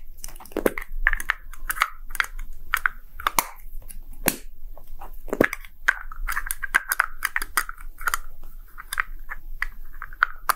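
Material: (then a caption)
Plastic. A small, hollow red-and-white plastic gacha capsule shaped like a Poke Ball is held in the hand and roughly tapped with short nails and fingertips. Dozens of quick, irregular taps give crisp clicks with a hollow, ringing plastic tone in the mid range, plus a few sharper, brighter knocks. Each tap dies away almost instantly against a faint low background rumble.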